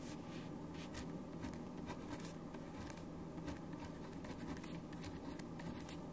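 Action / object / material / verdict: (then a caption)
scrape / ballpoint pen on a paper sheet / paper / none. A black ballpoint pen writes continuously across a single printed white paper sheet on a wooden desk, its tip scratching over the paper. The result is a steady, quiet scratching with brief bright strokes over a low, even hum.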